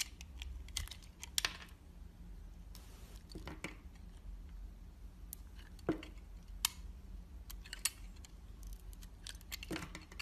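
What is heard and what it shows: A box-cutter blade cuts into a solid pink soap bar with a red coating, held in the hand, slicing strips off its edge. Short, crisp scraping and cracking bursts, bright and quickly fading, come at irregular intervals over a steady low hum.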